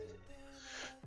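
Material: Nothing is struck.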